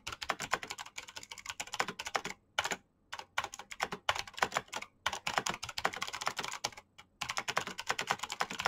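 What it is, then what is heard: Plastic mechanical keyboard. Fast typing with fingertips and short nails on a black plastic mechanical keyboard with clicky green switches. Dense runs of sharp, bright clicks break off in brief pauses around 2.6, 5 and 7 seconds.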